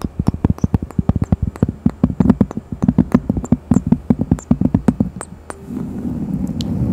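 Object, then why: Thin cork coaster scratched with fingernails. A thin, solid, round cork coaster with a bear print, held in both hands close to the microphone, is scratched with long fingernails and fingertips. It gives a fast run of dry, low tapping scratches, then near the end turns into a steady, continuous rustling scrape.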